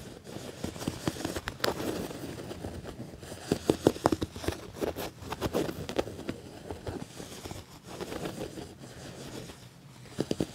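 A hand presses on a padded black quilted leather jacket panel with stitched ribs, then scratches and taps it with fingernails. Soft, crinkly scratching and rubbing runs throughout, broken by short, sharp taps that cluster in quick bursts.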